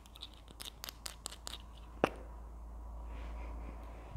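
Long nails scratch and tap a small, hollow red plastic Berlingo glue stick tube, including at its cap end. A run of light, dry clicks and scratches leads to one sharper tap, followed by a quieter scratchy rustle.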